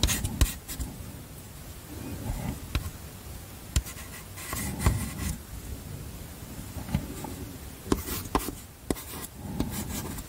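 Chalk scratches and rubs across a small flat black chalkboard slate in a wooden frame, held in one hand, as words are written on it. Soft, low, grainy scraping strokes run throughout, broken by about eleven short, sharp clicks of chalk against the board, each with a bright edge.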